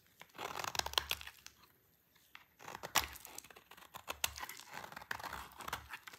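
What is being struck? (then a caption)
Soap bar scraped with a knife. A yellow-handled utility knife scrapes a solid orange bar of dry soap held in the hand, curling off thin shavings. Dry, bright, crinkly scraping comes in quick bursts, with a brief quiet pause before the crisp shaving resumes.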